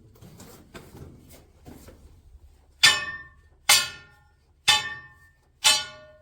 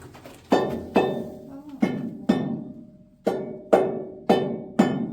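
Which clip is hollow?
The second.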